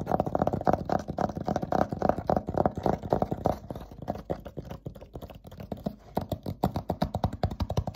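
Fingertips rapidly tap and scratch across the surface of a flat, thin dry-erase whiteboard panel held upright and covered in marker drawing. The sound is a quick, uneven run of short, dry, low-pitched taps with no ring, softening for a couple of seconds midway before picking back up.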